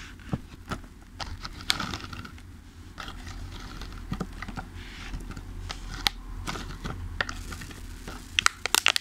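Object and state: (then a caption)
Thin plastic clamshell container. Fingertips tap and press the lid of a thin clear plastic clamshell food container full of pastries resting on a table. Bright, crinkly plastic crackles and scattered sharp clicks sound over a steady low hum. A quick cluster of louder taps comes near the end.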